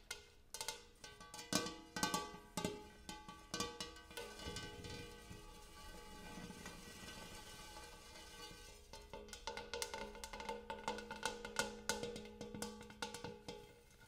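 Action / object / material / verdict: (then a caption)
tap / large metal bowl table / metal / none. A large metal bowl used as a coffee table is tapped, giving bright, bell-like percussive hits with a ringing tone around 1.1 kHz. Quick clusters of taps open the clip, fade into a stretch of lingering, shimmering resonance, and then resume in a steady run of ringing strikes.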